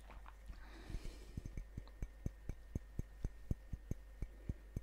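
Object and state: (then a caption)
Ceramic mug. A large, hollow, apparently empty ceramic coffee mug printed with a Grumpy dwarf is held up close and tapped on its outer wall with fingertips and nails. About seventeen short, dry taps land at an uneven pace, each stopping almost at once with no ring. A soft rustle near the start and a steady low hum run underneath.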